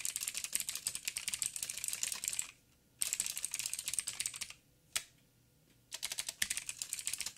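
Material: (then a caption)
Plastic. Fingertips of both hands type on a backlit 87-key mechanical keyboard with plastic keycaps and clicky blue switches. Rapid bursts of sharp, bright clicks come in three runs, with two short pauses near the middle and a single lone keystroke in the second gap. Each click is crisp and dies away almost instantly, with almost no low end.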